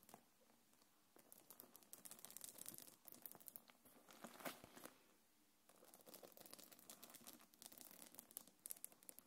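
Long nails scratch along the gold metal chains and quilted surface of a small black quilted faux-leather belt bag held in the hands. Dense, bright, crinkly rasping and ticking come in bursts, with brief quieter lulls between them.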